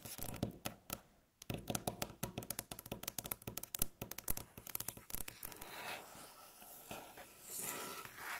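Long natural fingernails tap and scratch on a solid, light-colored, flat wooden tabletop. For the first five seconds, quick, dry clicks and short thunks rattle out in an uneven run. The rest settles into softer, continuous scratching with a brighter rasp.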